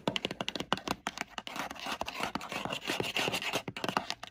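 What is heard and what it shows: Long pointed red nails rapidly tap and scratch the textured faux-leather lid of a hollow, dark navy Ralph Lauren rigid gift box made of leatherette-covered cardboard. Sharp, dry clicks mix with bright, raspy scraping, and each sound stops almost at once.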